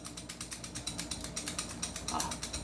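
A non-upgraded airsoft gun is shaken, and its loose internal parts give off a rapid, bright, clicky rattle. Many short, sharp knocks run together in quick succession over the whole clip. The gun is being compared with an upgraded one, and the rattle marks this unit as having loose parts.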